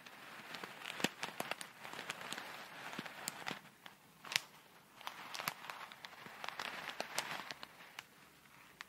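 A small clear plastic bag full of tiny colourful foam beads is pinched at the corner, squeezed and shaken with long red nails. It makes a soft, dense crinkling and rustling, broken by sharp, bright clicks and ticks that die away almost instantly. There is almost no low end, and the sound rises and falls in short bursts with brief lulls.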